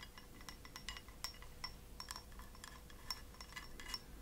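A small, hollow, empty white ceramic cup held upside down is tapped repeatedly with long acrylic nails. The taps make quick, bright clinks with a high ringing tone that dies away almost at once, over a low, steady background hum.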